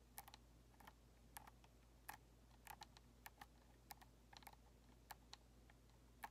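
Long nails tap rapidly on the face and thumbsticks of a white hollow plastic Xbox controller, making quick, sharp clicks that are bright and dry with almost no ring. The taps come in irregular bursts over a low steady hum.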